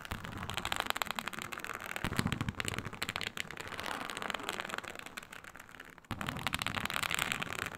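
Long nail tips scratch across a flat, iridescent snake-scale faux leather sheet, producing dense, dry crackling scrapes with bright high-frequency grit. The scratching runs continuously with rapid textured ticks, dips briefly just before the six-second mark, then resumes more intensely with added low rumble.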